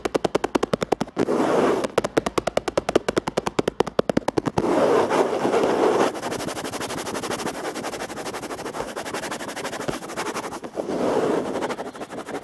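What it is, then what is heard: Plastic surface being tapped and rubbed. Fast, rapid tapping on a plastic surface produces dense bursts of short, dry clicks centered in the low mids. They alternate with stretches of continuous scratching or rubbing noise. The taps stop and start in quick rhythmic runs with almost no ring after each strike.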